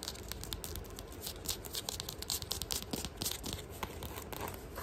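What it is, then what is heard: Rubber sandal sole, scratched. Fingernails scratch quickly across the chevron tread of a sandal's beige rubber sole held in hand. The result is a rapid, continuous run of dry, bright scratching and rasping, with dense crinkly bursts and little ring.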